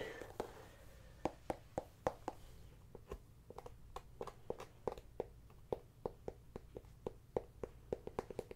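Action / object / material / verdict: tap / small whole pumpkin tapped with fingernails / pumpkin rind / none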